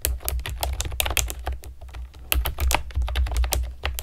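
A pastel plastic keyboard with round keycaps is typed on with long nails and fingertips, giving a quick, uneven run of short, sharp clicks with bright ticking edges. A steady low hum sits underneath the whole clip.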